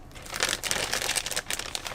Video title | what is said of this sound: Doodling with Sharpie Acrylic Markers | These, you can't hear that liquid at all.